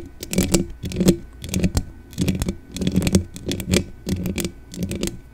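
Long dark-painted nails of both hands rapidly scratch the bare, hollow metal mesh grille of a black desktop condenser microphone. The result is a crisp, scratchy clicking in uneven bursts, with a heavy low thump and a faint high crackle, and each click dies away almost at once.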